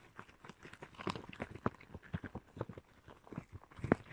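Red rubber gloves are worn on both hands while the palms and fingers are rubbed and pressed together. A quiet series of short, squeaky rubber-friction bursts is heard, with a few louder squeaks standing out.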